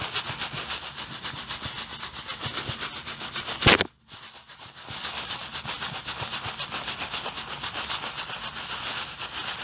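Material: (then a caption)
Plastic. Fingers with long blue-painted nails squeeze and crinkle a clear plastic bag full of white artificial snow, producing a steady, rhythmic, bright rustling crunch. A sharp, louder crackle near the middle is followed by a brief near-silence before the crinkling resumes at the same pace.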